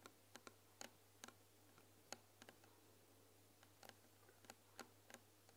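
Long nails tap quickly on the front panel of a closed, white-painted wooden tea box filled with tea bags. About fourteen short, dry, bright clicks sound in irregular clusters over a steady low hum.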